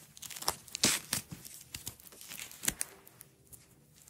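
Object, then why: Nylon hook-and-loop strap. A red nylon hook-and-loop strap rolled into a coil is handled by hands with long nails, rolling it and peeling the layers apart. Short, bright ripping and crackling bursts sound in quick succession, with a few sharper peaks, over a quiet background.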